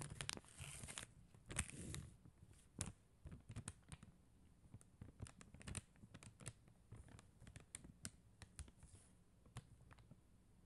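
Long acrylic nails tap the gems of a flat sheet of acrylic rhinestone stickers on a white backing while the sheet is rotated. Quiet, dry crinkling and rustling come through between sharp, bright little clicks and soft low thuds, with no ring after each tap.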